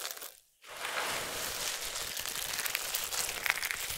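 Fingertips with long nails rake through a large bed of small, solid, dry soap strips in pink, yellow, green and white, then both hands scoop up handfuls and crush them. After a brief drop to near silence, a dense, bright crunching and crinkling starts and continues steadily to the end, with a few sharper snaps standing out.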